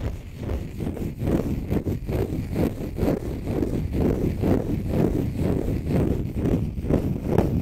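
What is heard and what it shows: A small, light green, dry, porous konjac sponge puff is held in both hands close to the microphone and scratched with short fingernails and fingertips. It makes a dense, low, rumbling scratch that swells in quick, uneven strokes about twice a second, with almost no bright or high content.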